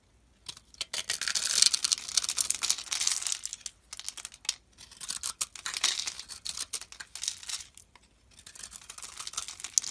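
A metal blade shaves a grid of small crumbly cubes from a rectangular, solid, pale green soap bar held in the hand. Dry, bright scraping and crumbling rasps come in three long bursts with short pauses between them, with almost no low end.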